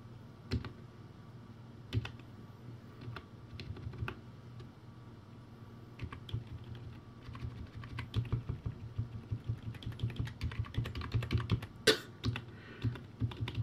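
Slow fingertip typing on a crappy plastic typewriter-style keyboard with round white plastic keycaps, in dim light. Short, dull plastic clicks with a low thump come sparsely at first, then fall into a quicker, uneven run of taps over a steady low hum.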